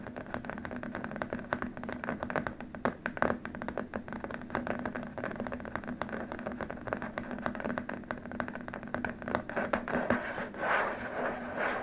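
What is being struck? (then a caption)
Plastic keyboard wrist rest. Both hands tap and scratch with fingertips and short nails on a long, flat, white plastic keyboard wrist rest. The result is a dense, steady stream of quick, dry clicks and scratchy rubbing with almost no ring, mixed with a faint low hum underneath.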